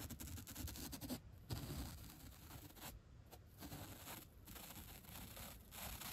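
The black bristle tip of a bottle brush scratches and flicks along the top and edge of a thick, 3-inch white upholstery foam block resting on a rug. The result is a continuous, soft scraping and rubbing texture with bright, airy bristle noise over a low, dull thud-like body, broken by brief quieter gaps.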